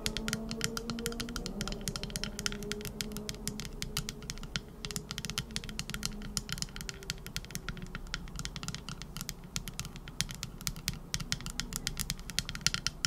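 Long acrylic nails rapidly tap and scratch the flat back of a small, hand-sized teal epoxy resin trinket dish, a solid cast piece shaped like a scallop shell. The result is a dense, continuous stream of quick, dry, bright clicks with very little ring and faint scratchy texture between them, over a soft low hum.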